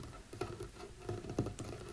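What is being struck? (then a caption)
Wooden table. Fingertips tap on a small wooden table, giving five soft, dull knocks with a low, woody thump. Each tap dies away almost at once, with quiet patter between them.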